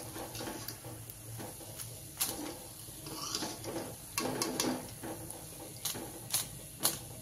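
Fried wheat masala puris, cooked on a low flame until pinkish, are lifted out of the hot oil, giving off sharp, bright crackles and taps over a steady high sizzle. The crisp, dry crackling shows the puris are fried properly crisp.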